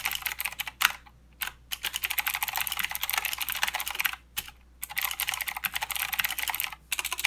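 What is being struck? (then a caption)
Plastic mechanical keyboard with clicky switches. Fingertips of both hands type continuously on a full-size mechanical keyboard with plastic keycaps and blue clicky switches. Rapid, bright, sharp clicks pour out in dense runs with almost no low end, broken by a few short pauses near 1, 4.5 and 7 seconds.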